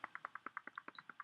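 A whole ripe cacao pod is shaken to check its ripeness, and the beans inside rattle around. About 12 quick, dry, clicking knocks come in a steady rhythm, bright and short with almost no ring.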